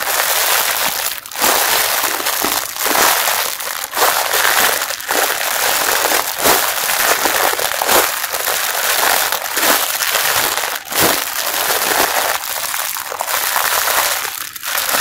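Fingers and nails crumple and squeeze the loose ends of the clear plastic package wrapped around a pink mesh bath sponge. The result is a steady, bright crinkling and crushing with almost no low end, broken by brief dips as the grip shifts.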